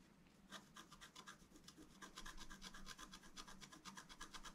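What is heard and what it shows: A wooden stylus scratches and rubs across a thin, solid, flat black wax-coated scratch-art paper card. Quick, dry rasping strokes repeat at an uneven pace of about two per second, each a bright, hissy scrape over a faint low rumble. The sound stays quiet and steady throughout.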